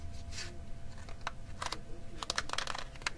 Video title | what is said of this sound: magic mania (part 1) | It makes a rattling sound.